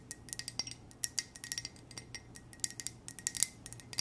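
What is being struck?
Ceramic coffee mug tapped with fingernails.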